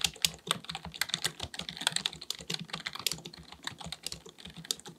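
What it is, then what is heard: Plastic computer keyboard being typed on. Fingertips of both hands type rapidly on a black full-size plastic computer keyboard resting on a desk. The quick, bright key taps click sharply and die away almost instantly, with a faint low thud under each press.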